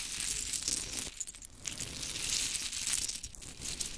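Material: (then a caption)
Wood. Long chrome stiletto nails scratch and rake through a pile of small pink wooden mini clothespins resting on glitter fabric. The result is a dense, bright rattle of light wooden clicks and scratches that quiets briefly in the middle before picking back up.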